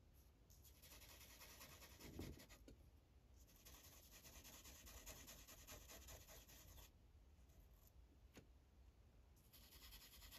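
A blue Sharpie felt tip is rubbed in coloring strokes across a thin white coloring page resting on a plastic clipboard. Soft, steady scratchy hissing comes in bright bursts of back-and-forth strokes, easing into quieter stretches with a brief sharp tick before the strokes pick up again at the end.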